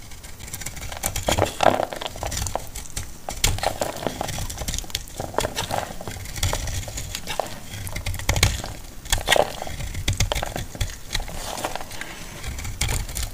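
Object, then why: Bar of laundry soap cut with a metal blade. A solid green bar of dry laundry soap, held in the hand, is cut and scraped into flakes with a metal utility knife blade. The clip is a steady run of dry, crunchy scrapes and crisp cuts with bright edges and dull low thumps underneath.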